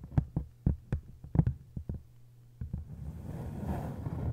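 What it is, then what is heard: Hardcover book with paper dust jacket. Long acrylic nails tap about a dozen times on the textured paper dust jacket of an open hardcover book lying face-down with its cover and spine facing up, landing on both cover halves. Each tap is a short, dull, low thump with almost no ring. The nails then scratch across the jacket in a steady, soft rustling hiss for the last couple of seconds.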